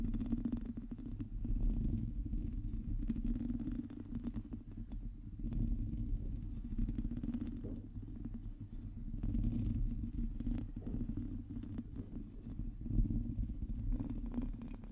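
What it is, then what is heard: Metal mesh microphone grille being scratched. Long teal nails on both hands scratch over a hollow metal mesh microphone grille, producing a continuous, dense scratching that registers mostly as a deep, booming rumble with faint crackle. The level stays fairly steady for the whole stretch, swelling and easing slightly as the scratching moves across the mesh.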